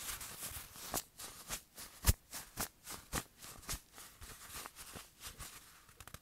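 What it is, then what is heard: Fabric watch cushion. A small, soft black velvet-like fabric cushion from a watch box, padded and solid, is squeezed in the hand and tapped and rubbed with the fingertips. The result is quiet, irregular, dull padded taps mixed with a bright brushing rustle of fabric, with one firmer thump standing out near the middle.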